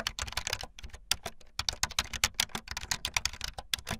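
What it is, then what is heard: Plastic keyboard being typed on. Fingertips with long light-blue nails type fast on a full-size plastic keyboard with white, blue and yellow plastic keycaps and a blue backlit frame. About 25 quick, bright, clicky keystrokes rattle out with very short decay and a few brief pauses between bursts.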